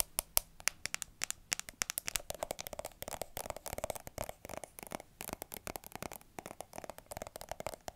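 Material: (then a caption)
Plastic. Long manicured nails rapidly tap and scratch a small mint-green plastic squeeze cosmetic tube with a white plastic cap, hollow and likely filled. Dozens of sharp, bright clicks come in quick bursts over a dry, scratchy hiss, with a hollow plastic resonance rising in the middle of the clip. Each tap dies away instantly, with no ring.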